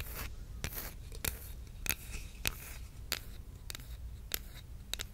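Long red nails scratch and tap a solid, flat bamboo wooden spatula or spoon with a wide bowl, close to the microphone. Short, dry, bright clicks recur at a loose, uneven pace over a steady soft scratching and a low rumble, each tap stopping almost instantly.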